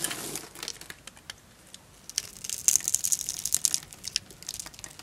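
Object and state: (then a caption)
Dry bar soap being cut. A knife blade scores a grid into an orange, embossed solid bar of dry soap held in the palm, and cubes crumble off. Dry, bright crunching and scraping come through as a quick run of sharp crackles and crisp snaps, with almost no low end. Denser, louder bursts follow as the cubes break away.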